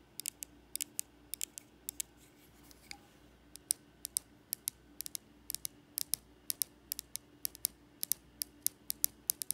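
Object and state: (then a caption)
Aluminum TV remote. Long acrylic nails tap and scratch along a small, slim, solid aluminum Apple TV remote with a silver back and Apple logo, first held in the hand and then laid on a ribbed fabric couch. The result is a run of quiet, sharp, bright clicks with almost no ring, spaced unevenly over a faint steady hiss. They end in fast, fluttering finger taps.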